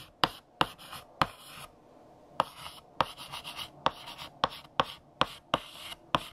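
A hand writes text on a large, flat black chalkboard with a blue chalk stick, making dry, bright scratching strokes. Sharp taps mark each time the chalk meets the board, with short gaps of near silence between bursts of writing.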